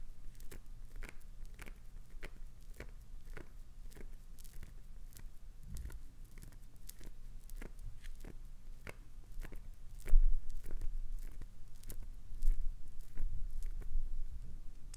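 Long nails scratch repeatedly across the heavily grooved face of a solid, hand-sized green glycerin soap bar, shaving it. The result is a quiet, steady stream of short, dry, crackly scrapes and ticks that reach up into the high range over a faint low hum. The scraping grows a little louder and denser in the last few seconds.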